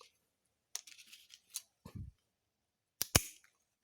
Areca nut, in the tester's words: berarti Pinang kering nantinya dia akan krasko suaranya pun beda